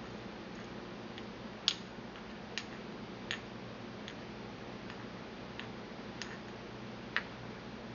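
A porcelain pestle taps against the inner wall of a small, empty, white glazed porcelain mortar held in the hand. Several short, sharp, bright ticks sound around 3.3 kHz, spaced irregularly over a steady low hiss. Each dies away almost instantly.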